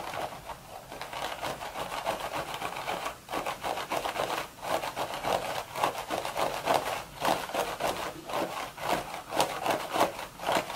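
Long red nails slowly rub and scratch the woven top of a cream straw hat with a hollow crown. Dry, crackly scratching rasps come in uneven strokes with short pauses between them, with a mid-range papery texture and bright grit.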